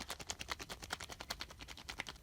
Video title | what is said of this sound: Drying Gourds for a Year - Cucurbitaceae Documentary | it's hollow it's still not exactly all the way hollow but it's still hollow